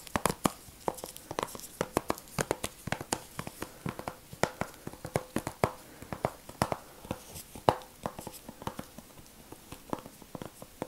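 A blue, hollow, flat plastic video game disc case with a printed cover insert is held in latex-gloved hands and tapped and scratched with gloved fingertips. About fifty quick, sharp clicky taps ring out, mixed with soft scratching between them.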